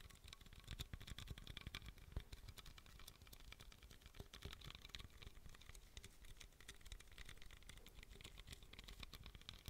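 A small pink aluminum beverage can, likely empty or closed, is held in both hands close to the microphone and tapped rapidly with fingertips and nails. The result is a quiet, continuous patter of dry, clicky taps with soft low thumps and bright metallic ticks that stop almost instantly.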